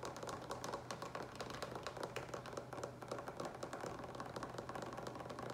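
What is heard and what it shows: Fingertips and nails tap quickly on the sides of a large green plastic water pitcher with a lid, partly filled with water. A dense, steady run of light, hollow clicks with a resonant tone around 560 Hz plays over a faint low hum.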